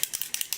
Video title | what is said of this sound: Revlon, Maybelline, and Loreal Haul | you shake it up and it sounds like a can of spray paint